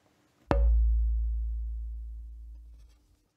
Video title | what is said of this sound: Wie man ein Cembalo baut - SWR Handwerkskunst | The longer, the better.